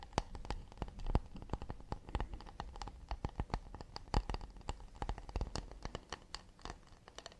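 Quick fingertip and nail taps and scratches on the underside of an empty, round, hollow acacia wood plate held close to the microphone. A rapid, uneven run of short, dry clicks, each with a soft low body and a bright tick on top, dies away almost instantly with faint scratchy rustle between them.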